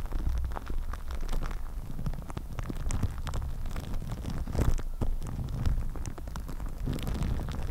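Long nails scratch and rub clear plastic cling film wrapped over a microphone head. The result is a steady, dense crackle of small ticks and rustles over a heavy low rumble, with occasional brighter crinkly snaps.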